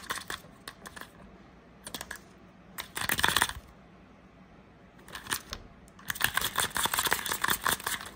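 Long nails tap and scratch the small, hollow beige plastic cap of a Febreze spray can, held close up. Quick, dry, bright clicks and scratchy rasps come in fast bursts separated by short quiet gaps, with almost no low end. The busiest stretch builds near the end.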